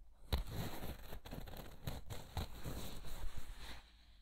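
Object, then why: Woven vinyl placemat. A thin, flexible woven vinyl placemat is held close by the ear and crinkled and bent with the fingers. The result is a steady crackling, crinkling rustle with sharp snaps. Most of the energy sits low, with bright crackle on top.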